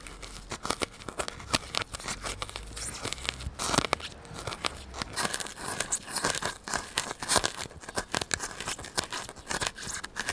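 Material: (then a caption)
Polystyrene foam. A solid white polystyrene foam block, held near the microphone, is pierced and scratched with a needle and fingertips. A dense run of sharp, crunchy crackles and squeaky tearing scrapes follows, bright and with almost no low end. Each snap dies away instantly.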